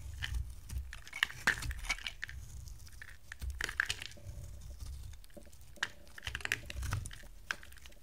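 A utility knife blade carves a dry, solid, hand-sized oval yellow soap bar with a gold pattern, breaking off dry chunks. Crisp scraping and crackling cuts are punctuated by sharp, bright clicks over a soft low rumble, with brief quieter pauses between strokes.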